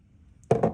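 A spoon taps twice on a jar of hard, dry crystallized honey with lots of glucose and a strong crystal lattice, after near silence. The taps are short, dull knocks around a midrange pitch that die away almost at once, showing the honey is set firm.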